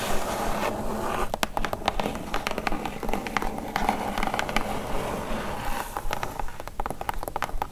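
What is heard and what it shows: Long acrylic nail tips tap rapidly on a large, hollow, brown corrugated cardboard shipping box. The quick, irregular taps come as sharp, bright clicks with a hollow thud beneath them, over a steady low rumble and faint scratchy rustling.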